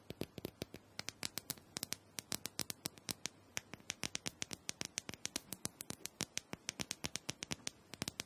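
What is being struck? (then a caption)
Plastic handheld massager. Long nails rapidly tap and scratch the sides and top of a small, round, purple plastic dome massager that is likely hollow. The result is a quiet, steady patter of dozens of sharp, bright clicks with no ring, set over a faint scratchy hiss.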